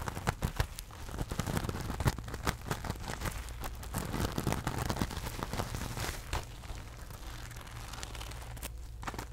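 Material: Rhinestones.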